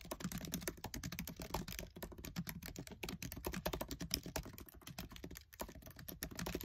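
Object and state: Plastic laptop keyboard keys.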